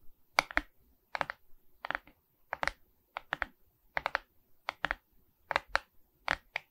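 Long red nails tap and scratch the face of a medium Mickey Mouse diamond painting made of resin beads on a framed wooden board held upright. Short, dry clicks come in quick bursts of two to four, spaced across the clip with a bright, crisp tone. There is almost no low end and no ring.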